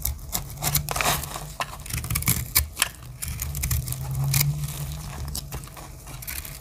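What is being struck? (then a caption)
Bar of soap scraped with a small blade. A solid rectangular dry soap bar with teal and black chips is held in the hand while its face is scraped and cut with a small metal blade. Dry, crumbly scraping and quick bright crackles repeat over a steady low hum as the surface breaks away.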